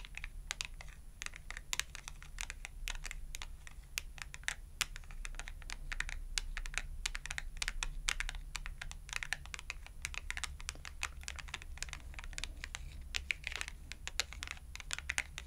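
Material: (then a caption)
Cardboard. Long acrylic nails tap quickly against both sides of a thin cardstock clothing price tag held edge-on between both hands. The result is a rapid, uneven stream of dry, bright clicks that die away almost instantly, over a steady low hum.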